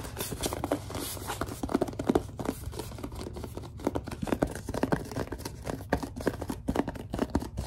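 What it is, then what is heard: Plastic lotion bottle being scratched and gripped. Long dark nails scratch and grip a large, hollow white plastic Suave lotion bottle. The result is a dense run of quick, dry scratches and squeaky grips, with low-mid bursts and brighter flicks. Each sound stops short with no ring.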